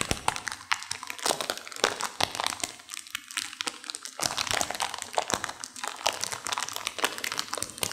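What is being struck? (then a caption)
Plastic instant-noodle packet with dry noodles. A sealed plastic instant-noodle packet with dry noodles inside is squeezed and crunched by hands with long nails. Dense, bright crinkling and sharp crackles run continuously, with brittle crunches from the dry noodles and almost no low end.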